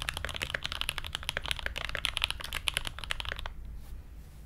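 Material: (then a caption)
Brass, plastic. Both hands type continuously with their fingertips on an SG81M mechanical keyboard with Everglide Aqua King switches, blue ABS keycaps and a brass plate. A rapid run of short, crisp, bright clacks, with a peak near 2.9 kHz and little ring, fills about three and a half seconds before the typing stops and only a faint low hum remains.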